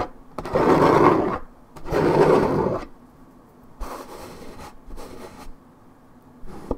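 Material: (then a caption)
Paperboard. Long nails scratch rapidly and deeply across the scuffed area of a 1.75 L coated paperboard orange juice carton. Two loud, dense bursts of rough, raspy scratching come first, followed by softer, thinner scratching passes with quiet gaps between them.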